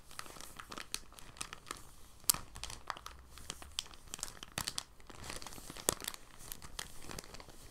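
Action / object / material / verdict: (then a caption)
scrape / thin soft plastic bag / plastic / none. Fingertips with short nails crinkle and rub a thin, clear, empty soft plastic bag held flat on a desk, rolling and unrolling it. A steady, quiet bed of bright, dry crinkling runs throughout, broken by many sharp crackles and a few louder snaps, with little low-end weight.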